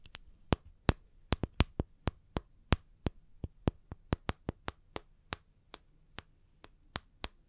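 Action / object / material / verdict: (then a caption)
tap / small round wooden log slices / wood / none. Two small solid round wood slices with bark edges, one held in each hand, are tapped on their flat cut faces with long painted nails. About 24 short, dry, bright clicks sound at an uneven pace, each dying away almost instantly over a faint low background.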